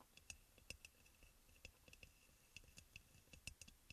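Fingertips and short nails of both hands tap rapidly on the glazed sides of a hollow, white crackle-glazed ceramic aroma oil burner with its top bowl in place. About fifteen quick, light clicks and ticks sound with a bright, glassy ring near 2.6 kHz. Each tap dies away almost at once over a faint low rumble.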